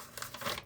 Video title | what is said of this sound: Vlog from a crafter’s Desk #3 This week includes a visit to Simba’s paper dying palace. | can you hear how crispy they are